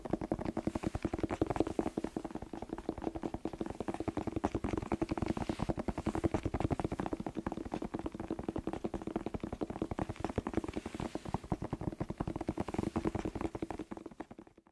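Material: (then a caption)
Vegetable skin. A whole, fresh, hollow red bell pepper is tapped rapidly with fingertips and nails close to the microphone. The result is a steady, fast stream of short, dry, hollow knocks with a low-mid body and little high-end brightness. The tapping continues evenly for about fourteen seconds before fading out at the end.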